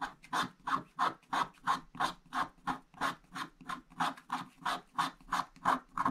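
A wooden stick scratches short strokes into a flat, wax-coated scratch-art paper page, a black coating over blue foil paper. About 22 quick, evenly spaced rasping scratches, roughly three per second, each a dry, papery scrape centred around 1 kHz that stops almost instantly.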